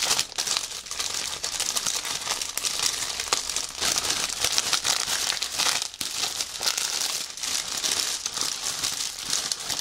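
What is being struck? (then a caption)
Plastic bag wrapping soft fabric. Fingertips and nails scratch, pinch and press a clear plastic bag with white fabric inside, a prop lying flat on a table. The result is a steady, dense crinkling for the whole clip, bright and high with almost no low end. The sound is made of many quick, dry crackles that fade almost instantly.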